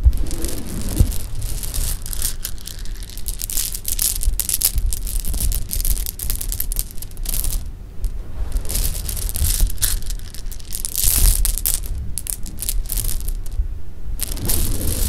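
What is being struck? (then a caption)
Pile of sugar-shelled jelly beans. A pile of small, solid, candy-shelled sugar-coated jelly beans on pink fabric is dropped from the hands and shaken together so they click against each other. The result is a steady, dense patter of quick, bright clicks and rattles over a low, rumbling bed, with short louder bursts as handfuls fall.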